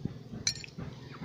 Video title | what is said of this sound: Macadamia shell cookstove producing high quality biochar | sounds like glass and that's based on the structure of this biochar